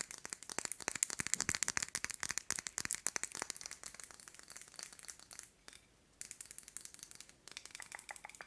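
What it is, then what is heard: Metal candle tin. Long nails rapidly tap and scratch a small, round metal candle tin with a marbled purple finish, filled with wax. The dense, bright clicks and scratches die away almost instantly, with a brief pause near the end before the tapping resumes.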